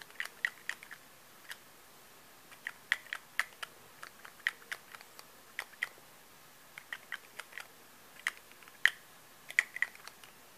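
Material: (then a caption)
Glass. A small, filled cylindrical glass rollerball perfume bottle with a colourful zigzag label, gold metal collar and clear purple cap is held in both hands and tapped with manicured fingernails. The result is a quiet, irregular stream of about 25 sharp, dry clicks, several with a brief glassy ping near 1.9 kHz and bright high edges, each decaying almost instantly.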